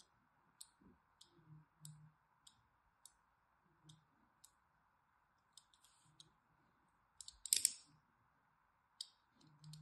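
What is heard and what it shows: A thin, needle-like blade scores fine lines across the top edge of a solid orange-and-white striped bar of soap held in the hand. Quiet, sharp, bright scratching clicks come in short separate strokes, with soft low thumps and a faint steady hiss underneath. A louder, denser burst of scraping comes near the end.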